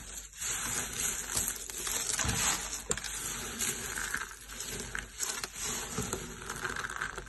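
Both hands rub and crush a pile of yellow dry soap shavings with their fingertips on a purple mat. The result is a steady, bright, crunchy crackle and rustle, dotted with small sharp crackles throughout.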